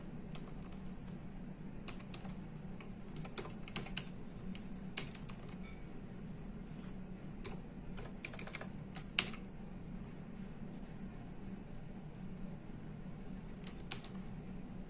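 Fingertips type on the plastic keys of a full-size plastic computer keyboard, producing sparse, sharp, bright clicks spread across the clip. A steady low hum sits underneath the quiet, short keystrokes.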